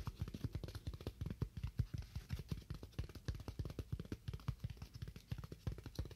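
A solid, roughly hand-sized slab of white styrofoam is held and tapped quickly with fingernails. It makes a steady run of about forty dull, low, muffled taps that die away almost instantly, with very little brightness.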